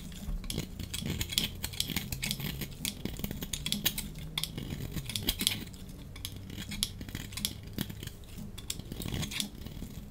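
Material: Soap.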